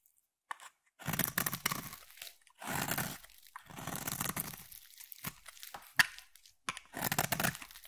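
A palm-sized solid blue bar of soap is cut and shaved with a utility blade and then a craft knife, peeling off flakes. Several dry, crunchy scraping passes rasp across the bar, with short quiet gaps between strokes and a sharp click partway through.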